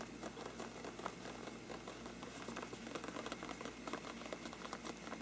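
Curled fingertips scratch and tap the sides of a hollow faux-parchment paper lampshade, making a quiet, continuous papery crackle dotted with quick, dry taps. Each tap dies away almost at once, while a faint steady low hum sits underneath throughout.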